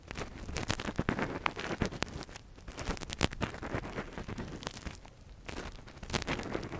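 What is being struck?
Silicone ear model and thin metal earpick.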